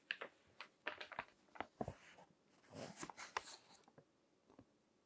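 Fingertips turn the pages of a crinkled glossy paper magazine on a table, rubbing the paper. Quiet, crisp crackles and sharp ticks come in quick bursts, with a longer, brighter rustle in the middle. The sounds stop dead with no ring.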